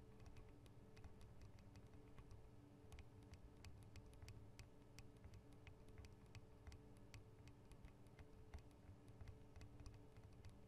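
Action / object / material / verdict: tap / metal microphone capsule guard / metal / none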